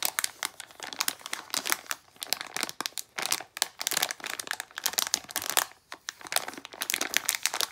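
A small plastic foil blind bag of Disney d-Licious Desert figures is crinkled and pulled open by hand while long nails scrape across the foil. Dense, dry, bright crackles and crinkles come in rapid bursts with almost no low end and no ring.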